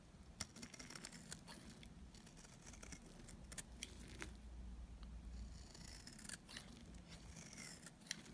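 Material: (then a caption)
Soap. A small, solid bar of dry white soap is held in the fingers and shaved with a snap-off utility knife blade, throwing off crumbly flakes. Many short, dry, bright scraping and cutting strokes crackle over a soft low rumble. A few sharper clicks stand out.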